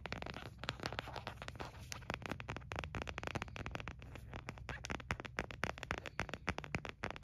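An empty white frosted plastic phone case with a printed picture is held in the hands and tapped and scratched with the nails. Rapid, dry clicks and brief scratchy strokes follow one another densely, each dying away almost instantly, over a steady low hum.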